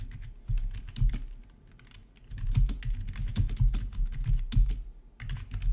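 Both hands type with their fingertips on a full-size black plastic RGB membrane gaming keyboard with rainbow backlit keycaps, resting on a marble surface. The keystrokes come as a rapid stream of soft, dull, low thuds with short clicky tops that die away quickly. A brief quieter lull breaks the typing before it picks up again in steady bursts.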